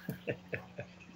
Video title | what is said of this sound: SF Recap show/ Picks video 5/26/17 | had you not tapped it everybody could hear that it was empty